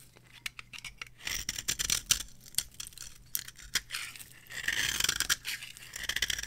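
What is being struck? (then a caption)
Bar of soap scraped with a small metal blade. A small metal blade scrapes curls off the face of a solid, palm-sized bar of dry, varnished orange soap held in the hand. The result is a run of crisp, bright scratching strokes and sharp ticks with almost no low end, rising into longer, denser scrapes toward the end.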